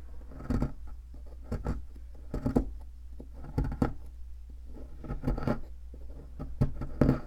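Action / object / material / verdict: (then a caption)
scrape / plaster block scraped with a metal pick / plaster / none. A thin metal pick scrapes and scratches the surface of a solid white plaster fossil excavation block. It makes short, gritty bursts of scraping separated by quiet pauses, over a steady low hum.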